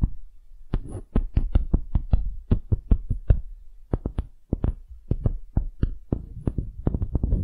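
Fingernails rapidly tap and scratch on a small, solid wooden hemisphere. The result is a quick, irregular run of dull, low, woody knocks. Each knock dies away almost at once, with faint scratchy rustle between them.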